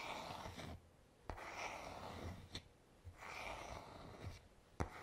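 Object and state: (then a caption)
Wooden hairbrush back. Fingertips slowly rub the smooth, solid wooden back of a paddle hairbrush held in the hand, making soft, breathy swells of brushing friction with quiet pauses between strokes. Three short, sharp clicks stand out from the rubbing.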